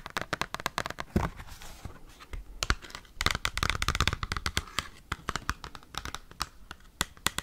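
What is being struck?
Large glossy cardboard card tapped with metal paperclips.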